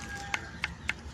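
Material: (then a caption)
Coconut husk. An ordinary coconut is flicked three times for comparison with a macapuno. Each flick is a short, dry tap with almost no ring, mostly bright, and the coconut gives back a dull, near-silent sound, as is normal for an ordinary coconut.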